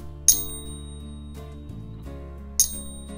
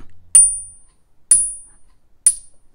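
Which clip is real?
The first.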